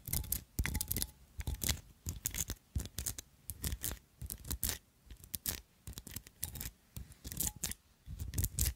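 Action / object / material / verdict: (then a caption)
scrape / small glass perfume bottle covered in metal filigree / metal, glass / none. Long acrylic nails scratch and tap the textured decoration of a small glass perfume bottle covered in ornate gold metal filigree with red jewels and a tall gold stopper. Quick clusters of dry, bright scratching and clicking come in short bursts with brief pauses between them, underpinned by soft low thumps. Each sound stops almost instantly with no ringing.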